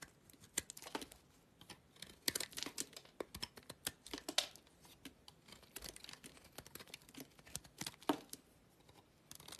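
A utility knife blade cuts and scrapes thick shavings off a small, solid yellow soap bar held in the fingers. The result is a quiet, irregular run of short, crisp, bright scraping and crunching clicks with no ring-out, some in quick bursts and others spaced apart.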